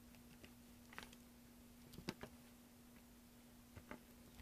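A large solid block of green bar soap, held in one hand, is scraped and carved with a green-handled carving tool held in the other, and the shavings fall into a tray. About eight short, soft scraping clicks sound over a quiet, steady low hum. Each click dies away almost at once.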